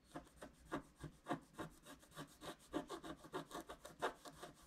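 A wooden stylus scrapes repeated back-and-forth strokes across a flat, wax-coated scratch-art card, filling in a tree trunk area. Twelve quiet, dry, rasping scratches come in an uneven rhythm, each a short burst of mid-range grit with a bright hiss that stops almost immediately.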